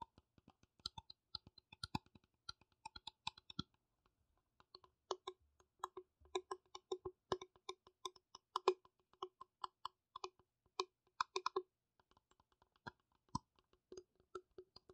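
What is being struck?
Small plastic piggy bank.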